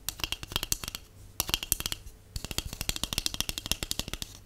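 A large, hollow, empty white cardboard tube is tapped rapidly with long acrylic nails and natural nails. Quick, dry, bright clicks with a faint low hollow thump come in three fast runs separated by short pauses, each tap dying away almost instantly.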